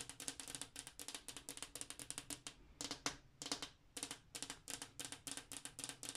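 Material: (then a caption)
Glass. Long acrylic nails and fingertips tap rapidly on a large, flat, solid glass bathroom wall mirror. Each tap is a short, bright click with almost no ring, plus a faint low glassy tone near 285 Hz. The taps come in quick bursts separated by brief pauses.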